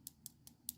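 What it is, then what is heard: Dip powder nail, fully hardened. A dip powder acrylic nail hardened with activator is tapped four times, giving four sharp, bright, high-pitched clicks that stop almost instantly. The crisp tap shows the activated nail is hardened and ready to be filed.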